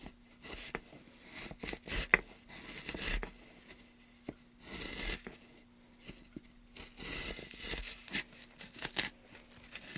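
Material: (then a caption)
Wood. Gloved hands push a gouge along a channel in a solid light-colored wood plank lying on a dark mat among shavings, scraping and cutting the wood. Bright, dry tearing and scraping strokes come in uneven bursts with short quiet gaps, over a faint steady low hum.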